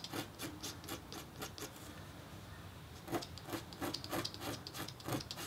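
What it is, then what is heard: Scratch-art copper-foil board being engraved. A red-handled metal stylus scratches and hatches lines into the coating of a flat, thin, black-coated copper-foil scratch-art board. It makes quick, dry, rasping strokes with a bright edge, easing into a softer stretch of continuous scraping before the crisp strokes pick up again.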